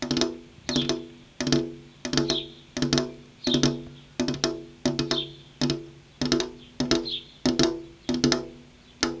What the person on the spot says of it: Tapping on a glass window (ASMR)